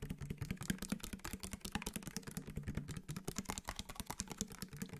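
A clear round plastic spray bottle with a white trigger sprayer, partly filled with liquid, is tapped with fingertips and nails while held close to the microphone. It makes a rapid, uneven stream of short, dry clicks with bright edges over a low hollow thump, and each tap dies away almost at once.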